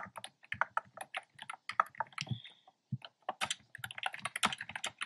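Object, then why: Plastic keyboard with round keycaps. Fingertips type steadily on a black plastic keyboard with hollow, round, pastel retro keycaps. Quick, dry plastic clicks and clacks come in bursts, bright and mid-pitched with little low end and almost no ring. There is a brief pause just before the three-second mark.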